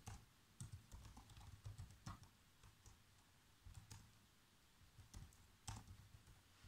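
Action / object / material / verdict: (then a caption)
tap / plastic laptop keyboard / plastic / none. Bare fingertips with short nails type continuously on a black plastic laptop keyboard. The irregular run of key taps is short and dull, mostly low thuds with faint bright clicky edges, and it dies away quickly between presses.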